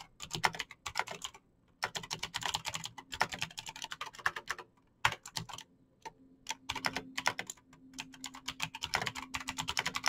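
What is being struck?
Plastic mechanical keyboard.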